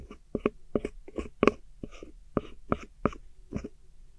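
A metal hook tool scratches and digs into a silver pressed powder eyeshadow pan set in a small square black plastic palette, breaking the powder up. Nine short, gritty scraping strokes come in quick bursts, each with a faint squeaky, tonal edge and a quick decay, separated by quiet gaps. The pressed powder is left broken up in its pan.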